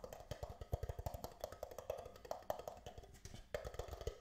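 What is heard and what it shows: An empty, hollow, thin red plastic disposable party cup is held upside down in both hands while fingertips and nails tap rapidly on its sides and base. The result is a fast, uneven run of short, dry, woodblock-like taps with a hollow mid tone near 600 Hz and soft low thumps, each dying away almost instantly.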